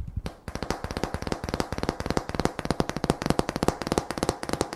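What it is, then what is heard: Painted wooden sign slats, solid. A decorative sign made of thin, solid painted wooden slats reading "Apple Cider" and "Thanksgiving" is held in one hand and tapped with long fingernails. It produces a rapid, irregular stream of short, dry taps, each a hollow low knock with a bright click and almost no ring.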